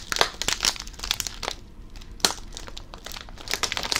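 A blue Covered Bridge potato chip bag made of plastic foil and full of chips is crinkled and squeezed with the fingers. Sharp, bright crackles come in bursts with little low end, easing into a quieter stretch near the middle before a loud snap at about 2.2 seconds. Dense crinkling builds again toward the end.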